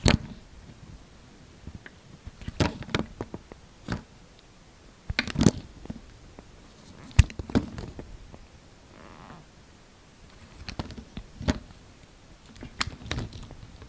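A utility knife blade carves and scrapes curled shavings from a solid light green oval soap bar. Soft, dry scraping and crisp cutting clicks come in uneven bursts over a low, quiet background, with the sharpest cuts standing out near the middle.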